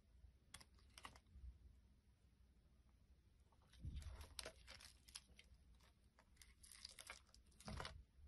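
A utility blade scrapes around the rim of a solid round green soap with a crumbly yellow-green outer layer, held in the hand, with cut pieces lying nearby. Quiet, dry scraping strokes come in short, bright, crackly bursts, louder near the middle and end of the clip, over a low steady rumble.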